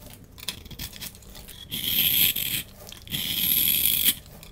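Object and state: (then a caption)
Bar of soap being scraped. A utility knife blade scrapes across a solid oval green bar of soap held in the hand, shaving off crumbly flakes. After a few faint ticks and scratches, two long, bright, gritty scraping strokes are heard, each a dense crackling hiss that stops abruptly.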